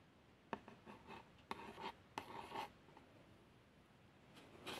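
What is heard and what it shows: A long fingernail traces around the x100 badge on a small, hollow, printed cardboard box of plasters. It makes a few short, dry scratching strokes with a papery rasp centred around 900 Hz and bright edges, separated by quiet pauses.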